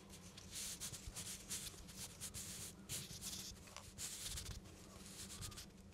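Fingertips rub and scratch a whole raw parsnip, a solid root with a dry, slightly rough skin, held in the hands close to the microphone. Bright, hissy scratching comes in uneven swells over a steady low rumble, and the strokes stay soft and close throughout.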